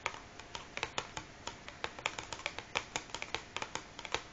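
Long fingernails of both hands tap and scratch the top of a large, closed cardboard matchbox resting on a wooden table. About 25 quick, dry, bright clicks sound in an uneven rhythm, each dying away almost instantly, with faint scratching between them and very little low end.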